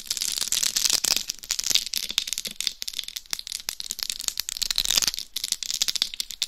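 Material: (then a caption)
Rhinestones. Long nails scratch and massage the rhinestone-studded surface on the top and sides of a hollow, life-size dummy head microphone. The result is a dense stream of fast, dry, bright scratching and clicking with almost no low end and no ring.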